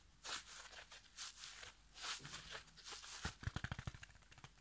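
A yellow foam kitchen sponge with a green scouring pad is held in one hand while fingertips and nails scratch and tap the foam and the pad. Bright, raspy scratching swells come and go for about three seconds. A quick run of sharp, dry taps with a soft low thump follows.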